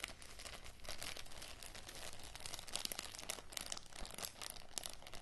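A small clear plastic zip-lock bag with a red seal strip and dark contents is held and crinkled by fingertips with long matte grey nails. A steady, dense crinkling and scratching runs throughout, with bright crackle and a low rumble underneath, occasionally sharpening into louder crunches.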